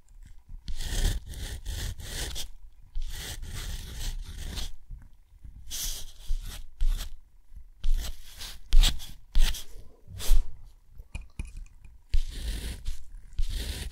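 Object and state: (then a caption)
Textured watercolor paper scratched by a steel nib. A steel nib writes cursive letters on a sheet of thick, rough, white textured watercolor paper, scratching the fibers. The sound is a series of dry, scratchy strokes with bright hiss, separated by short pauses, over a steady low rumble.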